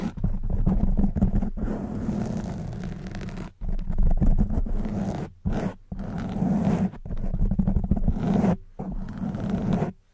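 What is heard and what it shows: Long white nails on both hands scratch the black foam windscreen of a silver microphone. The result is a dense, muffled, low rumbling scrape that comes in sustained bursts broken by a few brief silences.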